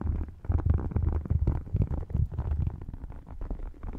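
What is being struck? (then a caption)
Faux crocodile-textured leather wallet. Short nails scratch and tap both panels of an open, thin, flat red faux croc-textured wallet. The result is a dense run of soft, irregular rubbing and tapping sounds that are very low and muffled, with almost no high end.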